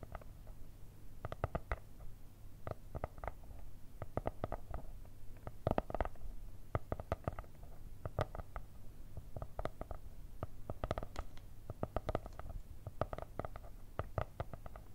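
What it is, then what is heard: Cardboard notebook cover. Long red nails tap and scratch the brown kraft cardboard cover of a spiral-bound notebook with stickers and an elastic band. The result is quiet, clustered bursts of short, dry clicks and scrapes over a soft low rumble, with each tap dying away almost instantly.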